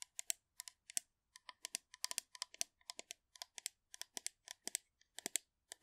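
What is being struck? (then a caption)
Metal aerosol can. Long manicured nails rapidly tap and scratch the surface of a hollow blue metal aerosol shaving foam can held upright next to the mic. About 36 quiet, sharp, bright clicks come in quick irregular bursts, each dying away almost instantly with no low-end body.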